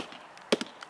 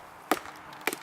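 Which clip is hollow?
The first.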